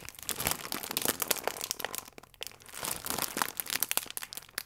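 A full plastic film croissant pack is folded and squeezed between the thumbs, giving dense, bright crinkling and crackling of the film. The crinkles come in two bursts with a short quiet gap in the middle.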